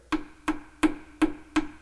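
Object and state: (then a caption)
Hollow fiberglass stringer extension. Five evenly spaced knocks on a small area of a boat's fiberglass stringer extension near the transom, a section added on previously behind the original stringer. Each knock is a short, hollow-sounding tap with a brief low tone that fades quickly. The section sounds hollow.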